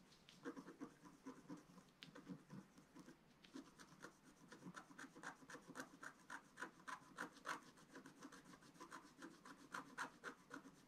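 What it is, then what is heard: Scratch-art paper being scratched. A wooden stylus is scratched across a flat, black-coated scratch-art paper sheet. Quiet, dry, rasping strokes repeat at an uneven pace of about three to four per second, each a short scrape with a papery hiss and a midrange edge around 1 kHz. The strokes stay soft and fade quickly, growing somewhat louder toward the middle of the clip.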